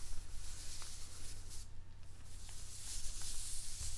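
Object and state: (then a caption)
Newspaper sheets being rubbed. Fingertips and palms of both hands rub and slide across a large flat spread of thin newsprint sheets lying on a wooden table. A continuous soft, bright papery rustle and hiss is heard over a steady low hum, with a brief quieter dip in the middle.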